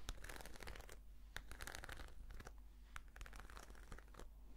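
A black glossy croc-embossed patent faux-leather brush case is scratched with long nails and fingertips. The result is a quiet run of crisp, crinkly scratches and brief tearing-like rasps over a steady low hum.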